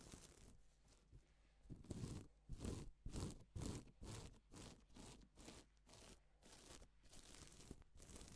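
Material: Plastic.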